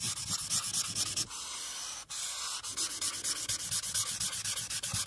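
A marker tip scrubs along the bottom-right border of a flat paper coloring sheet resting on a clipboard. It makes quick, bright, scratchy back-and-forth strokes. Midway the strokes blend into a steadier continuous rub with a brief dip, then the separate strokes resume.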